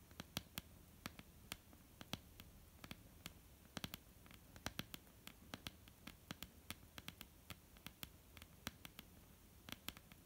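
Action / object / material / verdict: tap / wooden tabletop / wood / none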